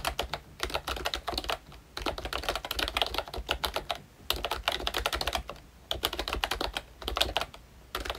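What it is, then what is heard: Plastic membrane keyboard. A ROYCHE Disney Mickey Mouse plastic retro membrane keyboard with round keycaps is typed on continuously with fingertips. Bursts of quick, soft clicky keystrokes with a bright edge come in runs, separated by brief pauses. A faint low hum sits underneath.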